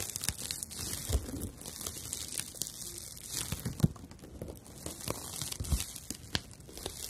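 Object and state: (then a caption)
Dried loofah sponge. Long nails scratch and rub the rough fibers of a palm-sized slice of dried natural loofah, porous and light. The result is a steady, dry, crackling rustle with bright hiss and scattered sharper snaps.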